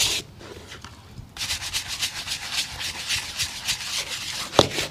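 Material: Leather.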